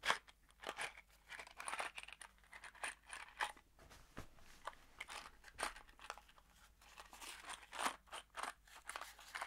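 A small kraft cardboard box holding screws is shaken in one hand, making a quiet series of short, crunchy rattles and scrapes. The bursts are bright and dry, with little low end and almost no ring after each shake.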